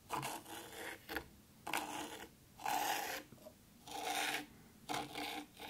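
Long pointed pink fingernails on one hand scratch letters into fine white sand in a black round tray. A series of dry, raspy scraping strokes follows, each a bright gritty hiss with short pauses between. It has almost no low end and fades quickly after each stroke.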